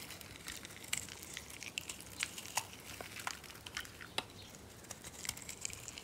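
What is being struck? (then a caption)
Bar of soap carved with a blade. A solid, hand-sized yellow bar of dry soap, scored into a grid and held in the palm, is crunchily scraped and carved with a metal box cutter blade, shedding small cubes. A steady run of quick, dry, bright crackles and sharp little snaps comes with almost no low end, each click dying away instantly.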